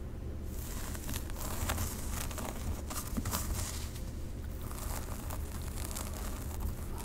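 Long pink acrylic nails scratch slowly through a dark synthetic long-hair wig on a solid mannequin head held close to the mic, moving through the hair and along the parting. A steady, crinkly scratching rustle sits over a constant low rumble, with bright flicks of texture rising and falling throughout the clip.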